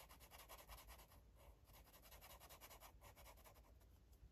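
A green felt-tip marker rubs and scribbles across a paper coloring book page. Quiet, rapid back-and-forth strokes make a soft, bright scratchy hiss over a faint low hum.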